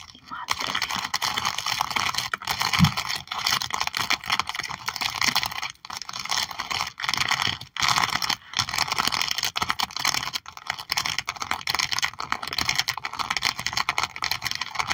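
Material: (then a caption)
Plastic. Long nails tap and scratch across a sticker album page with cat stickers under a clear plastic sleeve. Dense, rapid clicks and crinkly scraping run in near-continuous bursts with brief pauses, bright and crisp with little low end.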